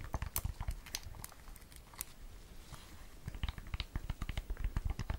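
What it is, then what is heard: Silicone-covered earbud case. Long nails tap and scratch a small, hollow, round AirPods case in a green and red watermelon silicone cover with a keyring. Quick, irregular, dull taps with soft clicky tops come first, then a quieter stretch of scratching in the middle. A fast run of taps resumes at the end.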